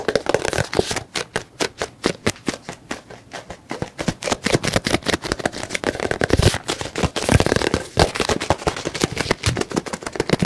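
Fingertips and nails rapidly tap a white, soft plastic squeeze tube of lotion with a green cap, partly full, close to the mic. The result is a steady run of quick, dry, clicky taps with almost no ring, with a mix of low body thumps and bright crackly edges.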